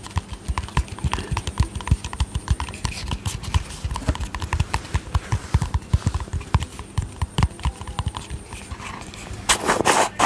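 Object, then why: Small plastic cosmetic tub with lid. Fingernails tap quickly and steadily on the lid and sides of a small round white plastic cosmetic tub with a yellow lid. Each tap is a short, dry click with a dull low knock underneath. Near the end, a brief brighter, rustling burst stands out.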